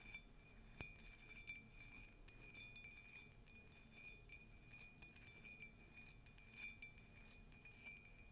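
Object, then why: Glazed ceramic mug. Long nails tap repeatedly on the glazed side of a tall, white, conical ceramic mug with a colourful text print; the mug is hollow and empty. Each quick, light tap gives a bright clink with a short ring near 2.4 kHz over a quiet background.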